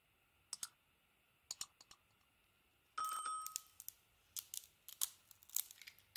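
A utility knife blade carves a hand-sized solid white soap bar, held in hand, with a glossy pink, gold and teal painted coating, shaving off the coating and soap in chunks. Sharp, bright scraping clicks start out sparse, then a longer scrape with a faint ringing tone follows, and a denser run of crisp cuts closes the clip.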